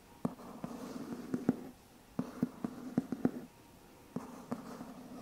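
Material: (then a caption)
Cardboard. A medium white cardboard box with a lid, hollow and probably empty, is held in one hand while the fingertips and nails of the other hand scratch and tap its side. Three bursts of soft, dry scratching are punctuated by twelve short, hollow, low-pitched taps. The taps die away almost instantly.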